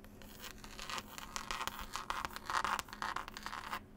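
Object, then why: Cloth-covered hardcover book. Long pointed nails scratch and tap across the green cloth cover and paper picture label of a solid, closed hardback book. Dry, bright scratching rasps come in quick irregular bursts, with short taps mixed in and a faint steady low hum underneath.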